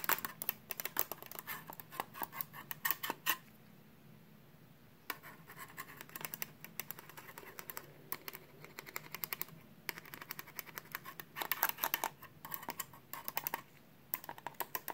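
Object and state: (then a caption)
Metal hard drive caddy. A small perforated sheet-metal hard drive bracket, held in a gloved hand, is tapped and scratched with a metal pen tip. Bursts of quick, bright metallic ticks and scrapes ring only briefly, separated by short quiet pauses.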